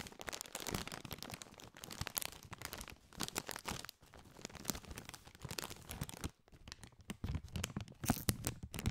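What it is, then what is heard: Metallized plastic chip bag being crinkled. A partly filled Doritos chip bag made of foil-lined, metallized plastic is squeezed and crinkled with both hands. It gives a dense run of sharp, bright crackles and crunches, with brief quiet pauses near four seconds and just past six seconds before the crinkling resumes.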